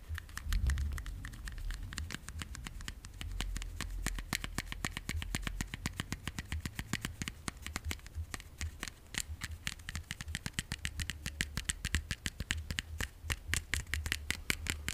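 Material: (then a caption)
Plastic. A small, hollow, white translucent plastic case is held in both hands and tapped rapidly with the fingernails. A steady stream of short, dry, bright clicks runs the whole time, each dying away almost instantly over a soft low rumble.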